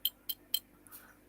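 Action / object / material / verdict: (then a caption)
tap / gold nuggets / gold / none. Large natural gold nuggets are tapped together three times, each contact giving a bright, short metallic clink high in pitch with almost no ring. A faint softer rustle follows the third tap.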